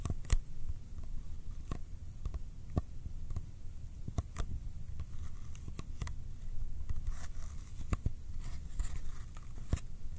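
Fingertips tap and stick to the flat faces of a small, hollow Kodak ColorPlus cardboard film box held up in the air. The result is a steady run of short, dry taps and sticky clicks that die away almost instantly, over a quiet low rumble.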